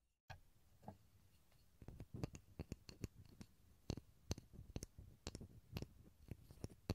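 A small solid pine wood block, held above a stereo recorder, is tapped with the fingertips in a quick, irregular series of soft taps. Each tap is a short, dry knock with a low, hollow body and a faint bright click on top, dying away almost instantly into quiet.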